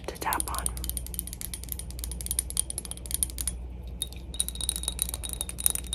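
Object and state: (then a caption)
Glass cologne bottle. A glass PacSun cologne bottle is tapped rapidly with light fingertip-style taps, producing a dense stream of short, bright, high clicks that die away almost instantly. A steady low hum runs underneath throughout.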